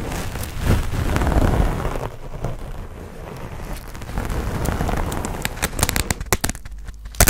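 A hand-sized grey textured foam sponge on a tan foam base, solid and porous, is held in both hands while fingernails scratch and tap it. Soft, rumbling scratching fills most of the clip, with a low, muffled body, then gives way to a run of short, dry taps with bright clicks toward the end.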